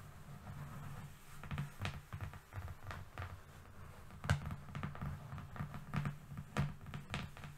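A long, flat, thin brown cardboard strip lying on a fluffy rug is tapped with the long fingernails of both hands. A quick, uneven patter of short, soft taps follows, each a dull, low thump with a faint papery click and almost no ring.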